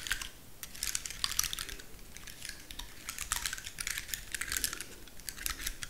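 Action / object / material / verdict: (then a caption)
scrape / woody pine cone / wood / none. Long nails scratch and tap the rigid scales of a large, dry, woody pine cone with a solid core. The result is a dense run of crisp, bright clicks and scratchy ticks that stop quickly with almost no ring, over a faint low rumble.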